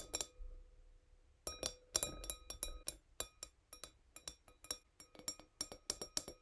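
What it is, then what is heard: Small wine glass tapped with a fingernail. A fingernail gently taps a tiny glass wine glass, producing about twenty bright, high clinks. An opening pair of taps rings out faintly, followed by a short pause, then a steady run of quick, sharp taps with brief ringing.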